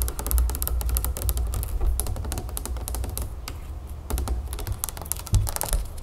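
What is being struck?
Plastic juice bottle with plastic cap.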